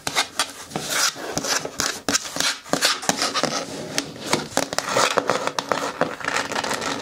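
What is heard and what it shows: Fingertips and nails rub and scratch the flat bottom panel and rim of a green hard plastic bin with a lid. The result is a dense, bright stream of dry scraping and rasping, broken by quick, sharp clicks with almost no ring or low end.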